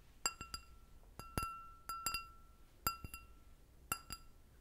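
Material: Glass.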